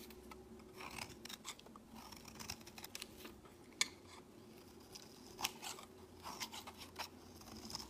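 A solid bright green bar of soap is held in the hand and shaved with a utility-knife blade, curling off shavings. Quiet, bright scraping strokes repeat in short bursts, with a few sharper clicks standing out over a low steady hum.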